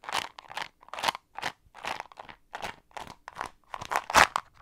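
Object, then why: Small plastic container with mints. A round, blue-rimmed plastic Ice Breakers container with mints inside is held in one hand close to the microphone and shaken. The mints rattle in quick, separate bursts of dry, crunchy clatter, bright with little low end, and each burst stops almost at once.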